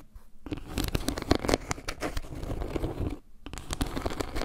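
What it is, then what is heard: Wooden log-slice trivet. Long nails scratch and tap across a round, solid wooden log-slice trivet with carved leaves and a dark center, making a dense run of dry scratching and quick clicky taps with low, woody thumps. The texture briefly goes quiet at the start and again about three seconds in before the scratching and tapping resume.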